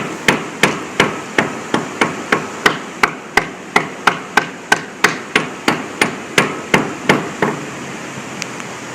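A hammer strikes a concrete bridge deck at the edge of a pothole over a delaminated area, about two dozen sharp, steady blows that sound hollow, while a small rock jumps around at the pothole's edge. Each strike is a short, bright crack with a brief mid-pitched ring. The sound marks the concrete as delaminated.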